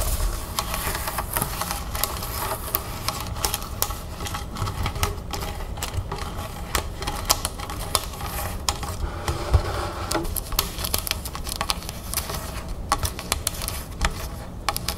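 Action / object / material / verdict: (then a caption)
tap / plastic soda bottle of sparkling water / plastic / none. Long red fingernails of both hands tap and scratch fast on the label of a large, clear plastic club soda bottle full of sparkling water, standing on a table. The sound is a dense, continuous stream of quick, dry clicks and scrapes over a low rumble, with bright ticks scattered throughout.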